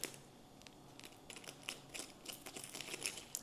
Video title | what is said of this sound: Хачапури на Сковороде без Духовки — Мягкий и с Тянущимся Сыром!) | सुनिए, इसकी परत कितनी कुरकुरी है।